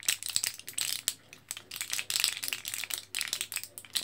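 An orange foil-backed plastic blister card full of capsules is held in both hands while fingertips press and tap the plastic blisters. The result is a quick, uneven series of bright, crinkly clicks and light rattles from the capsules shifting inside, with almost no low end and very short decay.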